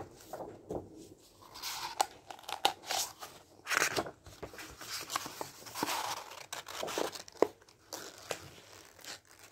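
Fingertips riffle and fan the paper pages of a medium-sized softcover paperback book with a white cover, held up in one hand. The result is a run of dry, crinkly rustles and quick bright page flutters with sharp little ticks, rising and falling in short bursts with almost no low end.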